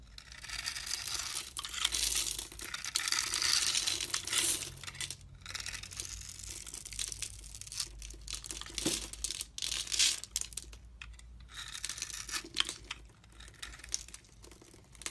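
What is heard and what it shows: A metal blade scrapes and carves the scored face of a solid blue and white striped bar of soap held in the hand, and chunks crumble off. Dense, bright crinkling and crunching scrapes come in uneven bursts, louder early on and softer toward the end.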